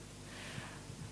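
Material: Nothing is struck.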